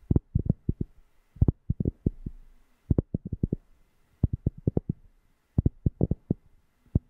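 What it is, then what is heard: Cork being tapped. A cork object is tapped close to a FIFINE K690 microphone in quick, irregular bursts of short taps. Each tap is a deep, bassy thump that dies away almost at once, with nearly all its energy low and nothing bright above it, separated by brief quiet gaps.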